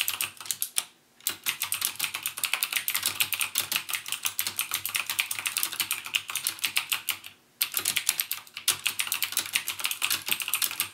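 Fingertips type continuously on a backlit mechanical gaming keyboard with plastic keycaps and Cherry MX Blue switches. Rapid, bright, clicky keystrokes with very short decay run throughout, broken by two brief pauses around 1 second and 7.5 seconds.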